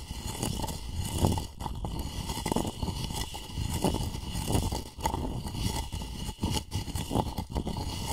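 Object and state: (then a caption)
Empty wooden mortar scraped with pestle. A wooden pestle scrapes around the inside of a light, hollow, apparently empty wooden mortar. The result is a steady, low, hollow grinding rasp with repeated rougher strokes and a faint high hiss above it.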